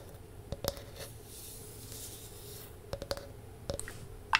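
Long nails scratch and tap a palm-sized, round, solid wooden disc with a ridged, grooved surface, held close to the mic. A soft, steady scratchy rustle runs underneath about eight short, dry clicks that come in small clusters and die away instantly. The final tap at the end is the loudest.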